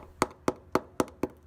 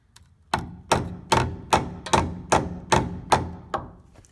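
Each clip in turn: First: Five evenly spaced hammer blows on a steel frame rail, each a dull, dead knock: rust-rotted and hollow. Second: Nine steady hammer blows on a steel truck frame, each a firm clank; the metal holds solid.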